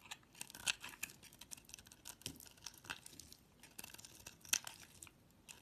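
A utility knife blade carves chunks and scrapes thin shavings from a solid cream bar of soap held in the hand. The sound is quiet, bright crackling and scraping, with sharp short snaps from the cuts and almost no low end.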